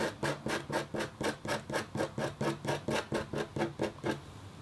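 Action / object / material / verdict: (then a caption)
scrape / black-coated copper foil scratch art board scratched with a metal stylus / copper foil / none. A red-handled, metal-tipped stylus makes short scratching strokes on leaf shapes on a flat, black-coated copper foil scratch art sheet. There are 15 steady, raspy scrapes at about two per second, each a brief bright hiss with a faint tonal edge. The scrapes stop abruptly, leaving only low background hiss at the end.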